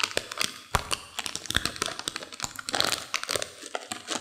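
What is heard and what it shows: A small yellow printed plastic M&M candy bag full of peanut M&Ms is held above a white saucer, squeezed and crinkled with long fingernails and fingertips, shaking the candies inside. Bright, dry plastic crinkling mixes with a rapid run of sharp little clicks and taps that stop dead with almost no ring, with very little low end.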